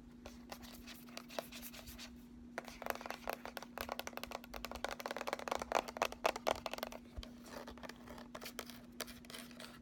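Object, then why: Cardboard eyeshadow palette. A small closed cardboard eyeshadow palette is held in both hands and turned to show its embossed front, plain back and ridged edge while nails and fingertips scratch along its surfaces and edge. Quick, dry scratches and light clicking taps come in irregular bursts over a steady low hum, growing louder and denser in the middle before easing off.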